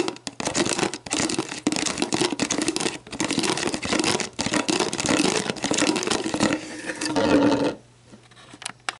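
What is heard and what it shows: Long black nails scratch and tap the ridged base of a clear, hollow, mostly empty plastic sports drink bottle, then the upright bottle. A dense run of bright, crinkly scratching and quick clicking taps carries a hollow plastic ring. The sound drops to faint, scattered touches near the end.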